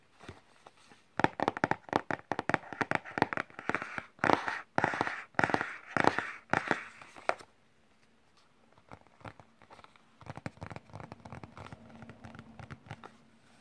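Fingertips and medium-length nails tap on the front face of a closed, flat printed cardboard wireless-keyboard box held on a lap, right where a keyboard is printed. Quick, irregular, papery clicks come in a dense run for about six seconds, then pause. Fainter, lighter tapping follows through to the end, with a dry, short-lived midrange tone.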